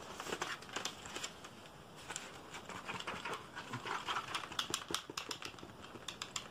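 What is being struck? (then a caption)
Plastic computer keyboard underside. Fingertips and nails tap and scratch quickly across the plastic back of a black computer keyboard, flipped over to show its label and hollow casing. A rapid, dense run of dry, bright clicks and scratchy rasps is heard, with almost no low end and each tap dying away almost at once.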